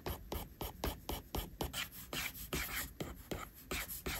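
A plastic stylus tip is rubbed in long sweeping strokes across a flat, solid iPad glass screen, probably with a matte surface, while inking hair. About fifteen quick rasping strokes come in an uneven rhythm, each a dry, scratchy rub with a bright hiss and a soft low thud at its start.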